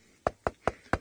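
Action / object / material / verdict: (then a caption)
knock / tree trunk, bare wood / wood / hollow. Four knocks on the exposed wood of a live tree trunk whose bark was stripped by an elephant, the wood dried out and riddled with wood borer beetle holes. Each knock is a short, hollow-sounding wooden thud centred in the mid-range that dies away almost at once. The tree is dying.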